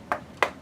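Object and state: Solid wooden walking stick.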